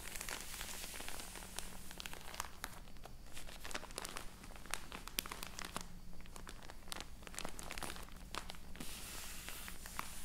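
A large, soft roll of cotton wool, full of cotton, sits in thin crinkly plastic packaging on a wooden table. Long acrylic nails scratch and tap the plastic, then both hands lift and squeeze the roll. The result is a dense stream of sharp, bright crinkles and ticks over a low steady hum.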